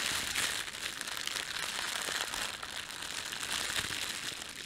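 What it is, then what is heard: Thin plastic bread bag. Hands bunch up and crumple a thin, red-and-white printed plastic bakery bread bag. A continuous, bright crinkling rustle is heard with almost no low end. The crackle stays dense and steady throughout, without clear separate hits.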